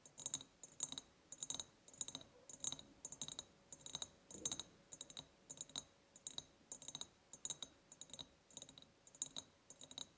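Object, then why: Ribbed glass jar tapped with fingernails. Long painted nails tap and scratch the sides of a large, empty ribbed glass jar with a white ceramic lid, tied with a gingham and lace ribbon and a ceramic heart charm. Quick, bright, clicky taps come in rapid clusters, with faint scratching between them. Each tap dies away almost instantly, with very little low end.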